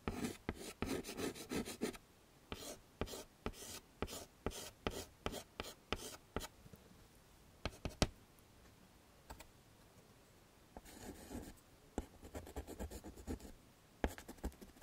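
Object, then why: Chalk stick on a wood-framed chalkboard. A stick of chalk held in the fingers scrapes across a small, flat black chalkboard in a wooden frame to draw flowers. Quick runs of dry, bright scratchy strokes come in bursts, broken by short pauses and sharp single ticks. A faint low thud sits under each stroke.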